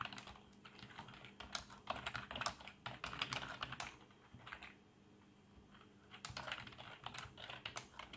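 Fingertips of both hands type fast on a full-size black plastic membrane keyboard with RGB backlight and a hollow housing, producing dense, bright, short clacks with a tone near 3.3 kHz. The typing pauses briefly around the middle, leaving only a faint low hum, then resumes in another quick burst.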